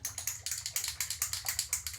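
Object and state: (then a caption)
Marble in a jar of still-liquid cream. A marble is shaken inside a capped glass jar of still-liquid cream at the early stage of making butter. About 16 quick, bright clicking rattles sound as the marble knocks around the jar. The sound will change as the butter forms.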